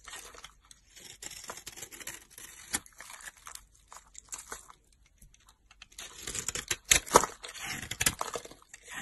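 A solid pink soap bar with green glitter edges is chopped and carved with a utility knife blade. Crisp, dry scraping and crunchy cutting sounds come in short bright bursts. A denser, louder run of cuts follows a brief lull near the end.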